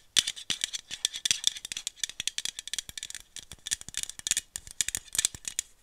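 A small aluminum iced-coffee bottle, held in one hand, is tapped with long nails along its body and cap in a fast, uneven run of sharp clicks that blur into a rattle. Each tap is bright and very short, with almost no low end and a metallic tone peaking around 3.5 kHz.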